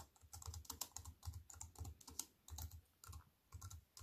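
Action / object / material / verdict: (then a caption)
tap / compact keyboard with plastic keys and metal frame / plastic / none. Fingertips with white-painted nails type quickly on a slim wireless keyboard with black plastic keys in a grey metal-look frame, lying on a wooden table. The result is a steady run of short, crisp key clicks, each with a bright tick over a soft low thump, in uneven bursts with brief pauses between them.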